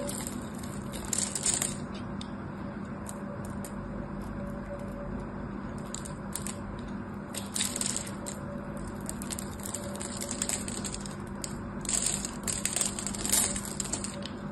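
A craft knife carves and scrapes small cubes off the edge of a solid blue bar of hard soap held in the hand. Crisp, bright crunching and scraping comes in short clustered bursts, loudest around 1.5, 8 and 13 seconds, over a steady low hum.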